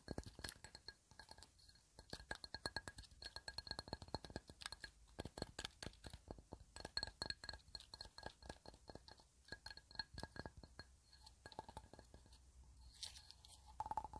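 A small, hollow, empty glass candle holder with a colorful painted pattern is held in the hands and tapped with long red nails. The result is a rapid, irregular stream of short, dry glassy clicks and clinks that die away almost instantly, with a faint ringing tone near 860 Hz and a bright, high shimmer.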